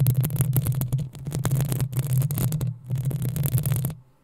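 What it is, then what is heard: Metal mesh microphone grille being scratched. Long nails scratch and tap the hollow metal mesh grille of a black desktop microphone. The result is a dense, boomy low rumble with rapid scratchy crackles and taps. The sound briefly drops out near the middle, then resumes before fading to near silence at the end.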